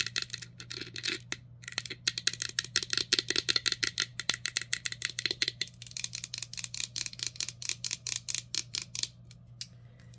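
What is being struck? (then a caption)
Glass drinking cup. A clear, empty can-shaped drinking glass with a colorful printed wrap is held in the hand and tapped and scratched with long nails. Dozens of quick, bright, clicky taps and scratchy strokes follow one another with almost no ring. A faint steady low hum sits underneath.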